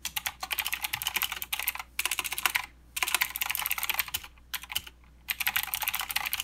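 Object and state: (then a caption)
Mechanical keyboard with plastic keycaps. Fast two-handed fingertip typing on a mechanical keyboard with plastic keycaps and clicky blue switches. Bright, sharp clicks come in quick bursts separated by short pauses. Each keystroke decays almost instantly.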